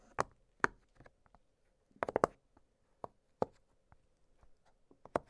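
Fingertips press the bubbles of an octagonal blue silicone push-pop fidget toy, making short, dry, muffled pops with no ring. About eight sharper pops stand out among softer, quieter clicks at irregular intervals, including a quick cluster in the middle.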